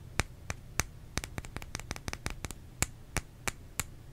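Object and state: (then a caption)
Bar of soap tapped with fingernails. Fingernails tap on a bar of soap in a quick, uneven series of 17 sharp clicks. Each click is crisp and bright and dies away almost instantly, over a faint low hum.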